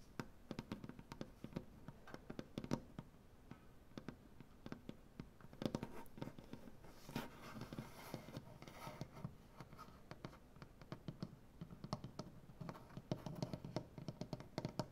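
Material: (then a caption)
Wood. Fingernails tap quickly with both hands on a large, solid wooden butcher-block tabletop, making a quiet, steady stream of short, dry clicks with a warm low body. Around the middle, a softer, breathy scratching wash rises before the rapid tapping continues to the end.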